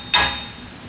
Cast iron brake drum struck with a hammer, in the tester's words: you can hear a much solid sound